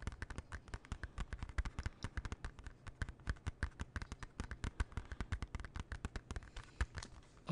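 A closed, small, hollow hard plastic CD jewel case of a TLC album is held and tapped with fingernails. About fifty quick, dry clicking taps come in an uneven, rapid rhythm. Each tap is short and crisp with almost no ring and a soft, low, hollow thump beneath the click.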